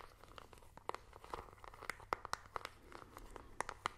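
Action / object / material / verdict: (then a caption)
tap / plastic remote control with rubber buttons / plastic / none. Fingernails tap and click the colored rubber buttons of a small plastic IR remote control, making an irregular run of quick, dry clicks and taps. Each hit is short with no ring, centered in the midrange around 1 kHz with bright ticks above, over a quiet background.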